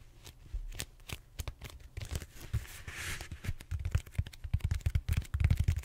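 Fingertips and short nails scratch and tap the bumpy surface of a large, purple, solid styrofoam foam roller held horizontally. Quick, dry, low thuds come in an irregular, rapid run, mixed with soft scratchy rustles and a brief brighter scrape near the middle. The tapping grows louder and denser toward the end.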